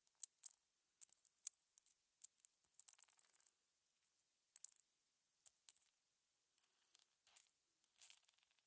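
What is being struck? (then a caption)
Small hollow aluminum button shells on a plastic mat. Aluminum cover button blanks, small hollow metal button shells, are set down one by one by a gloved hand onto a plastic cutting mat. Light, bright metallic clicks land at irregular intervals, some in quick clusters, each dying away almost instantly with no low end.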